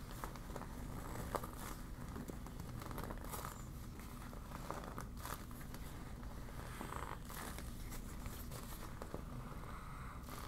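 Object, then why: Deflated PVC vinyl beach ball. A deflated yellow PVC vinyl beach ball is crumpled in the hands while long nails crinkle and scratch its thin vinyl. The result is a steady, dense crinkling and scratching with frequent brief crackles and a few brighter rustling bursts over a low, rumbly background.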